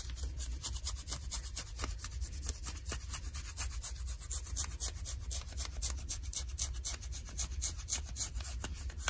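Long nails and fingertips scratch and rub light blue ripped denim jeans worn on the leg, over the fabric covering the shin. A steady run of quick, dry, rasping strokes carries bright, hissy texture above a constant low rumble. The scratching continues without pause for the whole clip.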